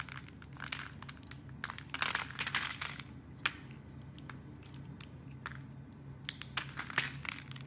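A blade carves slices and cubes off the edge of a solid lilac soap bar. Crisp, bright crunching and crackling bursts come in irregular clusters, with a few sharp snaps standing out, over a steady low hum.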